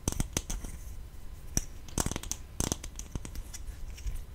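A small, hollow green plastic slime tub with a lid and printed label is held close to the mic and tapped and scratched with long painted fingernails. Sharp, bright plastic clicks with a low, close-up thump land irregularly over a steady soft scratching rasp. Each tap dies away almost instantly.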